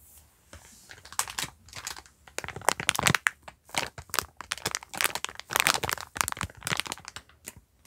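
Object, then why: Sponge pack in plastic film. A yellow sponge pack wrapped in clear plastic film with a black cardboard label is held and crinkled between the fingers, then brought close to the microphone at the end. It gives irregular bursts of bright, dry crinkling and crackling that stop dead with no ring, separated by brief near-silent pauses.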